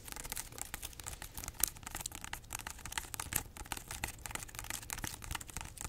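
Long nails scratch and tap the rough, scaly rind of a large, solid whole pineapple held in both hands, including its base. The result is a quiet, dense, crackly rasp full of bright, dry ticks, with a few sharper taps standing out and almost no ring after each one.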